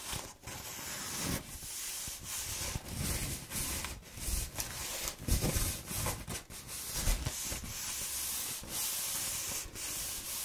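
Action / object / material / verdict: scrape / corrugated cardboard roll / cardboard / none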